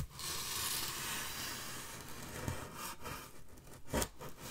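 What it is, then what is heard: Styrofoam slab scratched by fingernails. Long fingernails scratch along the top edge of a wide, solid styrofoam packaging slab standing upright, making a steady, bright, dry scraping and squeaking rasp. Toward the end, a few sharper, louder scratches stand out before the scraping thins.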